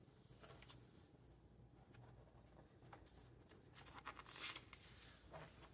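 Fingertips brush across the glossy paper pages of a large open hardcover book and flip them. Quiet, airy rustles and soft patting scrapes run throughout, with crisp bright swishes as pages turn, the loudest toward the end.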